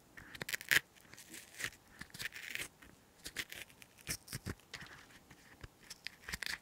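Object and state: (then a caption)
Green chili pepper half scraped inside. A hollow green chili pepper half is held in the hand while a cotton swab stick is inserted and scraped around inside it, and fingers scratch and rub the pepper's skin. The result is a quiet, close series of short, crisp scratchy scrapes and rustles with a bright, hissy edge centered near 1.9 kHz and almost no low end.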